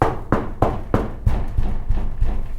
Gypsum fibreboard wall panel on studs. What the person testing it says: Ça résonne à mort. Moi je pensais que c'était suffisamment dense le Fermacell pour pas avoir cet effet